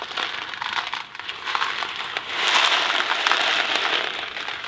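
A thin cardboard Kraft macaroni & cheese box filled with dry pasta is gripped in one hand and shaken and tilted so the pasta rattles inside. The result is a dense, bright, crackly rattle of many small clicks with almost no low end, growing louder and fuller in the second half.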